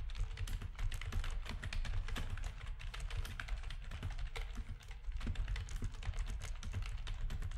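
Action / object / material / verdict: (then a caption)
tap / plastic computer keyboard / plastic / none. Fingertips of both hands type rapid key presses on a full-size black plastic backlit RGB gaming keyboard with a hollow housing. Dense, short, bright clicks rattle continuously over a deep, steady low rumble around 62 Hz. Each press dies away almost instantly.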